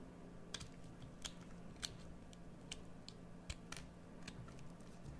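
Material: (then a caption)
Soap. A metal blade carves a solid green bar of soap in scraping cuts, giving a series of short, crisp, bright scrapes and clicks that stop dead with no ring. They are quiet and spaced irregularly over a faint, steady low hum.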